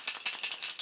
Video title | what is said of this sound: Using touch up pens to paint gun sights | you can hear like a paint cam there's a little probably little bearing in there that's going to Rattle